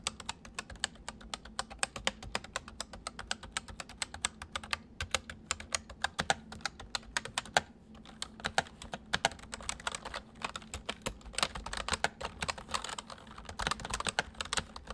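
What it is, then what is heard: Plastic mechanical keyboard. Fingertips of both hands type on a white full-size MSI plastic mechanical keyboard with hollow keys, producing a steady stream of quick, bright, clacking keystrokes that stop dead with no ring. A faint steady low hum sits beneath the typing.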